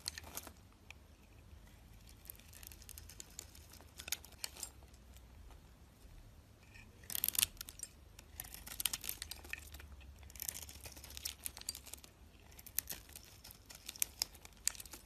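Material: Soap.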